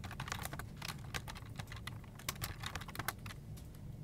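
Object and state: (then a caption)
Plastic computer keyboard being typed on. Fingertips type steadily on a full-size black plastic desktop keyboard with hollow keycaps, producing a quick run of light, clicky taps with a bright edge. Each tap dies almost instantly over a constant low hum.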